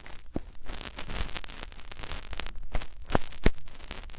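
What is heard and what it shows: Fingertips rub the opening of a white silicone ear on a binaural microphone. The result is close, crackly scratching and rustling over a low, muffled rumble, broken by a few sharper pops.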